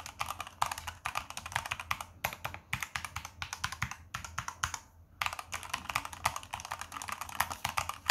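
Gloved fingertips type rapidly on a Z-77 tenkeyless hot-swappable mechanical keyboard with red key switches, white plastic keycaps and a brushed silver aluminium top plate, lying flat on a carpet. A fast, dense stream of short, bright clacking keystrokes runs throughout, with brief pauses near 2 and 5 seconds. Each press ends almost instantly, with no ring.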